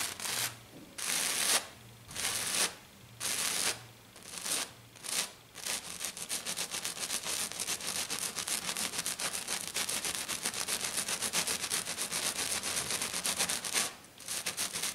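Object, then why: Glitter-coated plastic sheet. Long black nails scratch quickly across a flat silver glitter-coated sheet. At first, bursts of bright, hissing scratches come in separate strokes. From about six seconds on, they blur into a dense, rapid rasping that pauses briefly near the end.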